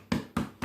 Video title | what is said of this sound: Soda Bread with Carmel Phillips | turn it upside down tap the bottom of it and there should be a hollow sound